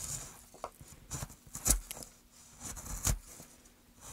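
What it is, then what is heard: Pine wood board being carved. A small gouge cuts and scrapes into a carved hollow in a solid, light pine softwood plank held upright. It makes a quiet, irregular series of short, dry scraping cuts, each with a soft low thud beneath a bright, hissy rasp. Every stroke stops dead with no ring.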